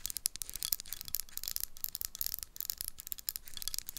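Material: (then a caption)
Glass, metal. Long nails tap and scratch the top of a metal screw lid, topped by a paper label, on a small dark glass jar. The result is a quiet, rapid stream of dry, bright clicks and scratchy rasps that stop instantly with no ring.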